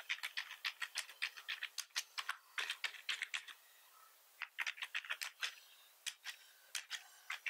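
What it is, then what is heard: Plastic computer keyboard being typed on. Fingertips of both hands press and tap the keys of a hollow-bodied black plastic computer keyboard, making a quick run of dry, bright clicks and clacks with almost no low end. The typing stops briefly just before the four-second mark, then resumes in the same rapid, uneven rhythm.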